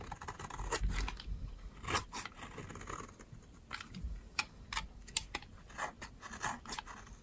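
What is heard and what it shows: A utility knife blade scrapes and shaves a palm-sized, solid white bar of dry soap held in the hand, and powdery flakes fall away. Dry, crumbly scraping strokes mix with sharp, bright crackles and short ticks that die away at once, over a low rumble from handling.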